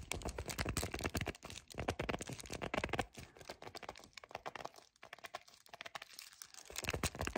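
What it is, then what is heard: Cardboard chocolate bar box. Fingers with painted nails grip, squeeze and scratch the front and back of a small, flat, full yellow cardboard chocolate bar box. The result is a dense run of fast, dry crackling and scratchy crinkles with a low, papery body and bright edges. The sound eases into softer, sparser rustling near the middle before building back up at the end.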